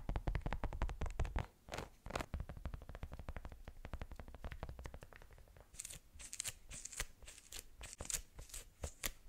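Long pink nails tap and scratch a small, flat watermelon-slice-shaped case made of pink and green plastic or silicone. A fast run of dense clicking taps with a low thump underneath gives way to softer scratching, then sharper, brighter taps toward the end.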